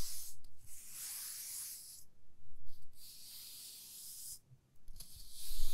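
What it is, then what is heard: Wooden ruler scratched with fingernails. Long fingernails scratch and rub along the top face of a 30 cm solid light wooden ruler, producing bright, hissy scraping strokes in several sustained passes with short pauses between them. A faint low hum sits underneath throughout.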